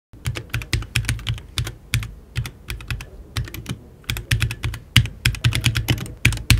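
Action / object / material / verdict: tap / mechanical keyboard, plastic keycaps on an aluminium case / plastic, aluminium / none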